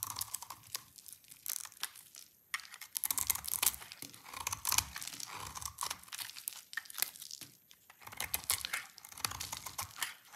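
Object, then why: Soap bar shaved with a blade. A rectangular solid bar of dry purple soap, held in the hands, is scraped and shaved with a utility knife blade. Dense, crisp, crackly scraping comes in short bursts and rapid clicks, mostly bright and high with little low end and almost no ring.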